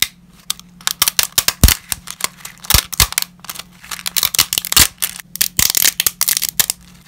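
Black-gloved hands break brittle dry lasagna pasta sheets over a pile of pasta shards, producing about thirty sharp, bright snaps and cracks in quick, irregular succession. Each snap is dry and dies away almost instantly, over a faint steady low hum.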